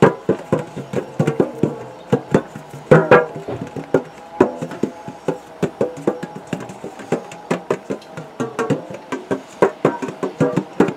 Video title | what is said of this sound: ASMR Tapping On A Metal Tin, Got Lovely Sounds From It | got a lovely sound doesn't it